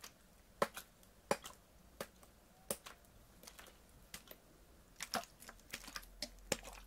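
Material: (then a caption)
Plastic. A medium clear PET water bottle with a blue cap and label, partly filled with water, is handled and squeezed with fingers and nails. The result is a quiet, irregular series of sharp, bright plastic clicks, taps and crinkles, each dying away almost instantly over a faint background hiss.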